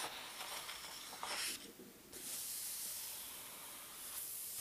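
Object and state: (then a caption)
Paper atlas pages being turned. Fingertips lift and turn the thin paper index pages of a large open paper atlas. The paper gives a bright, airy rustle with almost no low end, swelling into a sharper crinkle just past one second. It dips briefly, then settles into a steady soft hiss of sliding pages.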